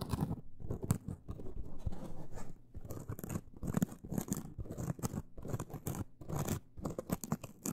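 A hand-sized, porous yellow synthetic foam sponge with large holes, soft and solid, is held in both hands and scratched with long acrylic nails. The scratching comes in dense bursts of dry, crunchy crackling with bright edges over a soft, low, rustling body, separated by brief pauses. Each scrape dies away almost instantly with no ringing.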